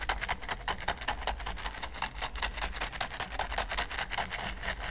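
A large, flat red silicone pyramid baking mat is scraped and brushed with the bristles of a green silicone pastry brush. The result is a quick, uneven run of bright, scratchy bristle strokes over a steady low hum.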